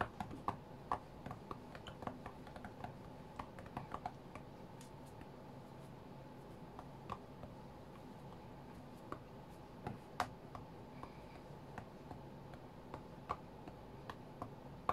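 Fingertips tap sparsely on the glass touchscreen of a white iPad lying flat on a mat. Dozens of short, dry, quiet clicks land at irregular intervals over a steady low background hum, each fading almost instantly.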